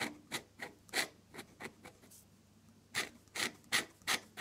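A metal dip pen nib scratches and drags long purple ink lines across a flat off-white drawing paper sheet. About ten short, bright, raspy strokes are heard, with a quiet pause in the middle before the scratching resumes.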